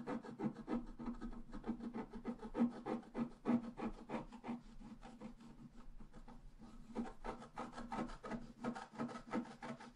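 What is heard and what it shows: A pointed wooden stylus scratches a flat, black-coated scratch-art card resting on a table, making rapid, dry rasping strokes at about three per second. The strokes soften through the middle of the clip before picking up again, with a steady low tone underneath.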